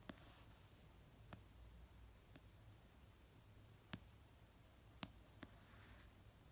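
Fingernails slowly tap the paper cover of an orange paperback novel resting on a blanket. Six short, dry, sharp taps are spaced unevenly across a quiet, low background hum, each stopping almost instantly.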